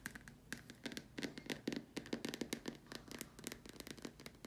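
Long dark nails tap and scratch around the top and sides of a large, hollow, white plastic dome lamp shade. A rapid, irregular run of short, dry clicks and scrapes follows, with a hollow body around 280 Hz and bright, crisp tips that stop almost at once.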